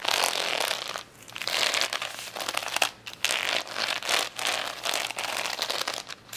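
A flat plastic rhinestone sticker sheet resting on a towel is scratched and tapped across its gems with long nails. The result is a dense, bright, crackling scratch in bursts, with brief quiet gaps between passes.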